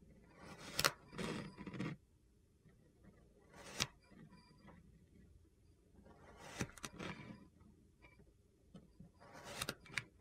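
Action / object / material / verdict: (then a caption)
scrape / kinetic sand slab scraped with a plastic knife / kinetic sand / none. A blue plastic knife, held in a hand with painted nails, scrapes ridged lines into a flat, solid slab of purple kinetic sand resting on a white surface. Short, gritty scraping strokes with a bright, crunchy texture come in separate bursts, with quiet pauses between them.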